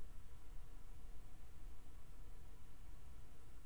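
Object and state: Nothing is struck.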